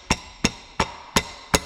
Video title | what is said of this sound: Camper vans Old and New Ep48 | that shouldn't make any noise at all, and it certainly shouldn't be moving